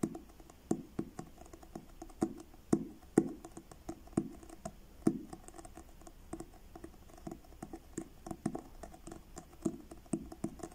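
Fingertips tap the solid blue card cover of a paperback book in a slow, uneven rhythm. Each tap is a short, dull knock with a low-mid body, a faint bright click and almost no ring, and soft quieter taps fall between the louder ones.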